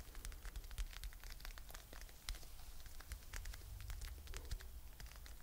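A soft, hand-sized mint green fluffy faux fur pouch with a "Chill Pill" patch is held close to the mic and scratched and rubbed with long nails. The result is a dense run of quiet, crackly rustling scratches with bright ticks over a heavy low rumble.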